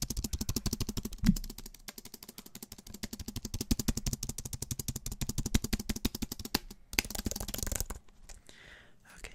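A slim, white-keyed, Apple-style wireless keyboard with an aluminium body is held upright near the mic while fingertips and nails tap its plastic keys very quickly. The result is a dense, rapid stream of short, dry clicks with a low, hollow thump under each tap, plus a loud knock just after the first second. Near the end the tapping briefly turns into a brighter, rattling flurry, then stops and gives way to faint soft rustling.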